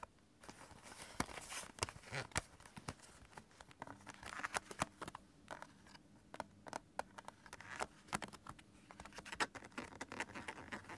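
A stack of several clear hard plastic CD jewel cases is held upright on fabric while fingertips and nails tap and scratch along the case edges and the top case. Quick, dry plastic clicks and taps come in an irregular stream, with softer scratching and crinkly rustles between them and almost no ring after each hit.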